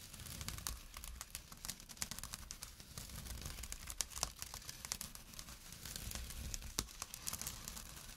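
A small, empty jute burlap drawstring pouch resting on dark cloth is scratched quickly with short nails and fingertips. The result is a dense, rough, crackling scrape with bright, papery texture, sharp little ticks scattered throughout, and a soft low rumble underneath.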